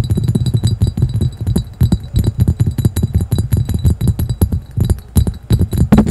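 A clear, hollow, empty cut-glass carafe with a diamond pattern is rapidly tapped and scratched with fingertips and nails, with the microphone sitting in the background. The result is a fast, continuous stream of short, dull knocks and clicks, mostly low and thumping, with brief rings that die away quickly and a faint bright shimmer above.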